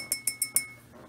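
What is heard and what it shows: A thrifted enameled ceramic art piece with gold flecks, bought for $1.99 and looking almost like glass, is tapped four times in quick succession. Each tap gives a bright, glassy clink high in pitch, with a faint ring lingering through the taps before fading to quiet.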